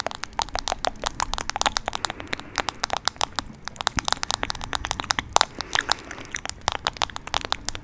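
Long nails rapidly tap and scratch a smartphone in a teal plastic case held next to the mic. The result is a steady stream of sharp, dry clicks with no ring, mixed with brief crackly scratches, bright in the upper range with little low end.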